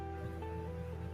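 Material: Nothing is struck.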